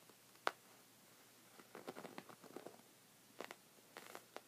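Short red fingernails scratch a thick, cream, textured woven knit rug of soft fabric, making quiet, dry, scratchy rustles in short irregular bursts. A sharp click stands out near the start, and the scratching is clustered in the middle and end. Each sound stops at once with no ring.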